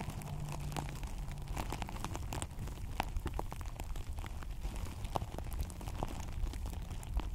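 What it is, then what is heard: Artificial grass microphone cover being scratched. Long acrylic nails on both hands scratch a synthetic plastic turf cover placed over a microphone. The result is a dense, continuous crackle of sharp, brittle clicks over a heavy low rumble, with the scratching rising and falling in bursts throughout.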